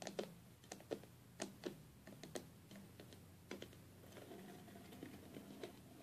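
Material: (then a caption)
Glass. Long fingernails on both hands tap and scratch the glass lid and leaded seams of a stained glass box. Sharp, bright, irregular clicks come first, then a softer, continuous scratching with lighter taps near the end, all at a quiet level.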